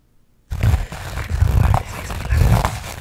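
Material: Burlap.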